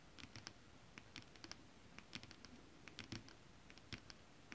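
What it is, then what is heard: Holographic scale-printed fabric tapped with nails. Long acrylic nails scratch and tap across a flat sheet of shiny holographic mermaid scale-printed fabric. A quick, uneven series of soft, dry clicks and light scratches sounds over a faint low hiss, each tap bright and very short with no ring.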